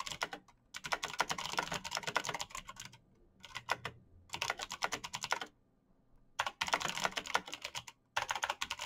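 Fingertips type fast on the clicky keys of a black mechanical computer keyboard with plastic keycaps. Rapid bursts of sharp, bright clacks with almost no ring are broken by several short pauses.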